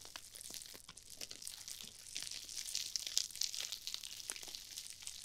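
Small pink and red glittery nylon mesh scrub sponges, foam-filled, are squeezed and scrunched by long-nailed fingertips right beside the microphone. The result is a dense, bright, crackly crinkling with many quick rustles and crunches, almost no low end, and a few sharper bursts near the middle. The sponges stay the same throughout.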